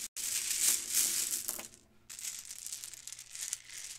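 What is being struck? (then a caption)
Plastic bead strand. A gold metallic-finish plastic Mardi Gras bead necklace of small hollow beads is held in fingers with long nails, shaken and rubbed so the beads clack together. It makes a dense, bright, crisp rattling with almost no low end, loudest in the first second and a half. After a brief near-silent pause, it resumes as a softer, steady clicking shimmer.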